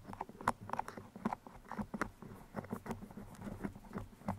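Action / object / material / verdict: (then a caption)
scrape / foam microphone windscreen with metal pins / foam / none. Two steel pins with colored bead heads are pushed into the sides of a black foam microphone windscreen and wiggled. The result is a quiet, rapid patter of short, dry scratches and clicks. Each has a mid-range crackle around 1 kHz and a soft low thump underneath.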